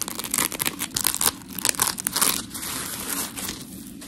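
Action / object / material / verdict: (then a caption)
scrape / coarse polymer foam sponge block / polymer foam / none. Long pink nails scratch a white rectangular scrub sponge block of coarse polymer foam while hands squeeze it. Dense, gritty, bright scratching and crinkling rasps come in quick bursts, then ease into a softer, steadier squishing texture with almost no low end.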